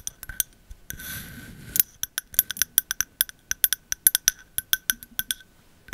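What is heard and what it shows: Long metal nail caps tap the glass side of a medium glass candle jar filled with white wax and bearing a Sandalwood label. A quick run of bright, high-pitched clinks sounds, each dying away almost at once, broken early on by a brief scratchy brushing sound.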